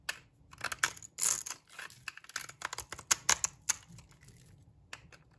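A metal blade shaves long strips off the edge of a solid, dry brown laundry soap block. It makes quick, crisp scraping and crackling bursts that are bright and papery, with almost no low end. The strokes come in an irregular run of short, sharp strips, with brief quiet gaps between them.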